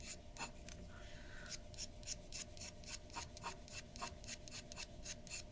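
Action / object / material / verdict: scrape / metal pen nib on paper / paper / none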